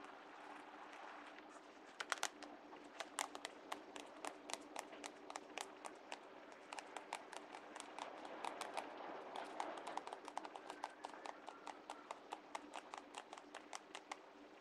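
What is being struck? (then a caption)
Cardboard notebook cover. Fingertips and nails tap and rub the flat, solid cardboard cover of a closed sketchbook with a white polka-dot design, lying on a wooden table. Dozens of quick, sharp, bright clicks with almost no ring are heard over a soft, steady rubbing hiss and a faint low-mid hum.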